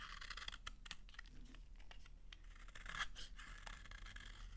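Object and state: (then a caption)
Dry soap bar scraped with a knife. A utility knife scrapes thin shavings off a solid, dry pink soap bar held in the hand. It makes a quick run of short, crisp, crunchy scraping strokes with a bright rasp over a steady low hum.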